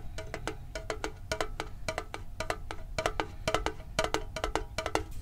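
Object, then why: Small metal tin lid. Fingertips tap quickly and unevenly on the lid of a hand-sized, hollow, printed metal Pokemon card tin held near the microphone. Each tap is a short, hollow metallic click with a brief ring centered around 1.3 kHz, over a steady low background rumble.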